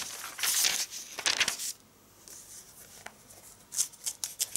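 Fingertips with long red nails, a large ring on the hand, rub, smooth and turn the pages of a thin glossy Avon catalog (issue 4, 2019) lying open on a striped tablecloth. Bright, crinkly paper swishes and rustles come in bursts, with a quieter soft rubbing stretch in the middle. Sharp, high page-flip ticks follow at the end.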